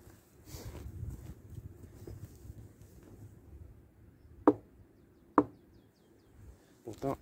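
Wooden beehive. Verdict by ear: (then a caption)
Occupied. A small knock is given on a wooden beehive in winter, heard as two sharp, dry raps against a low background murmur, followed by a faint response near the end. The bees respond, showing the colony is present and alive.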